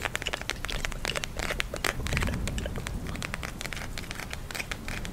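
A pink plastic gel eye mask filled with glitter beads is held in both hands and rapidly tapped and scratched with long nails. It gives a dense stream of sharp, bright clicks and crinkly scratching over a steady low rumble.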